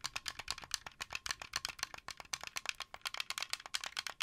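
Fingertips and nails rapidly tap and click the white buttons and sticks of a hollow, blue translucent plastic wired Xbox 360 controller held in the hands. About 32 quick, dry, bright clicks rattle in irregular bursts, with almost no low end. Each click dies away at once.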